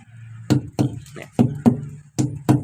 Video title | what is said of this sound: เช็ครถลุยงานต่อครับ | และเสียง เท่ากันนะครับ